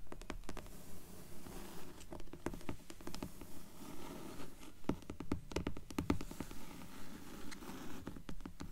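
Long nails tap rapidly on the cover boards of a dark grey hardcover book. The result is a quick, uneven patter of soft, dull taps with short decay over a low, rustling scratchy texture.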